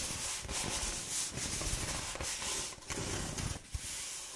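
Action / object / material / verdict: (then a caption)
scrape / corrugated cardboard roll / cardboard / none. A hollow, forearm-length roll of brown corrugated cardboard is held in the hand and rubbed and scratched along its ridged surface with fingertips and long painted nails. This makes a steady, bright, dry scratching rasp with a soft low rumble underneath. The sound briefly dips twice near the end before continuing.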